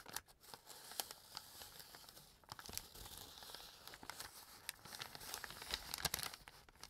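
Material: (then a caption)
Paper. A small, empty brown kraft paper bag has its edge folded and crumpled by fingertips with painted nails. The sound is a continuous, bright, dry crinkling rustle with many sharp little crackles and brief tearing-like snaps, mostly high and airy with almost no low end.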